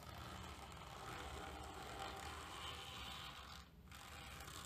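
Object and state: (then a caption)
Terry towel scratched with a plastic comb. A hand rakes the teeth of a tortoiseshell plastic comb, tilted, through the pile of a grey terry towel lying on a table, in short scratching strokes. The result is a steady, dense, scratchy rasp with a bright, hissy top, broken by a brief quiet gap near the end.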